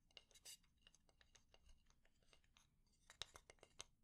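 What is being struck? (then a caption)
Wooden spatula. A fingernail taps and scratches on the head and edge of a solid, light wooden spatula. Quick, dry, bright clicks and ticks fall in an irregular rhythm over faint scratching, with almost no ring after each tap and a few sharper, louder taps near the end.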